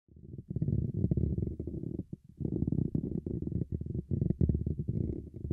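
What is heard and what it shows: Fingertips tap and rub the top of a handheld dynamic microphone's dark mesh grille cap, which sits over its hollow silver wire-mesh ball grille, directly on the recording mic. The result is a deep, muffled rumbling and thumping, mostly low around 70 Hz, with short scratchy bursts and faint higher ticks. It comes in dense clusters with brief pauses near 0.5 and 2.2 seconds.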